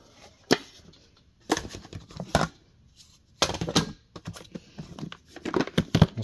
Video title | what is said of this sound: This Abandoned Storage Unit was PAKCED FLOOR TO CEILING | this one sounds like it has something in it